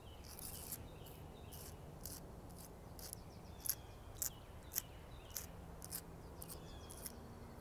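Long acrylic nails scratch and tap along the thick, deeply furrowed bark of a large living tree trunk. Dry, bright scrapes and crisp clicks come at an irregular pace, with a few sharper taps standing out, over a steady low background rumble.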